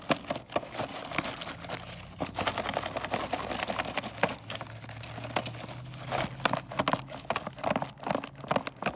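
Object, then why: Cardboard box with plastic window holding wrapped candy canes. Long nails tap and scratch the back and then the front of a cardboard box of mini candy canes, which has a clear plastic window and is full of individually wrapped candy canes. The clip is a dense run of quick, dry taps mixed with crinkly scratching, with short sharp clicks and a faint low hum underneath.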